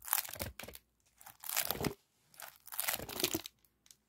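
A compressed aluminum foil flexible duct with a wire spiral is squeezed, bent and scratched with fingertips and nails by both hands. It gives off bursts of crunchy, bright crinkling separated by short pauses.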